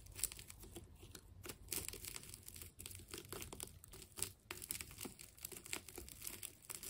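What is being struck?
Ball of wound plastic tape.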